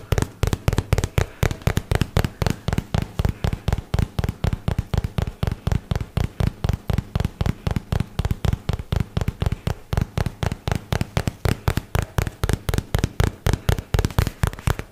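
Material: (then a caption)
Cardboard. Fingertips and nails tap rapidly on the surface of a white and teal paperboard product box held close to the microphone. About 66 short, dull, low-heavy knocks arrive at roughly four per second in an uneven rhythm, each dying away almost instantly.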